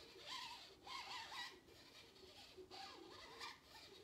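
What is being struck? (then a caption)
Paper cup. A medium, empty paper cup with a colorful printed exterior is scratched with long nails, first inside the rim, then on the outside after the cup is lifted. The scratching is quiet, dry and bright, coming in bursts with a faint squeaky tone.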